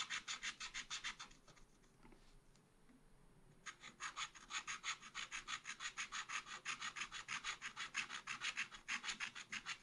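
A wooden stylus scratches fine lines on a deer figure on a thin black coated scratch-art card in a spiral pad. It makes rapid, bright, dry scratching strokes at about three per second. The strokes pause into a faint quiet rub for roughly two seconds near the start, then resume steadily, about 45 strokes in all.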